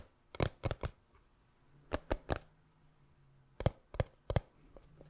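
Fingertips tap the sides of a small, hollow black cardboard gift box, making nine short, dry knocks in three groups of three. Each tap is hollow and low with a quick bright click on top, and dies away almost at once over a faint low hum.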